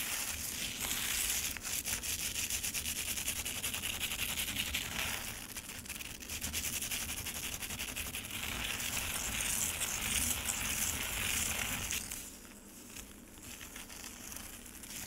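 Long nails and fingertips of both hands scratch and rake the icy surface of a solid frozen lemonade slab with loose crushed ice bits, sitting in a black rectangular plastic tray. A dense, bright, crackly scraping and crunching runs almost continuously, mostly in the high range, and grows quieter and softer for the last few seconds.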